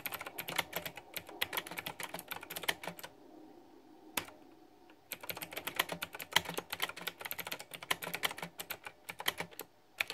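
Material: Plastic.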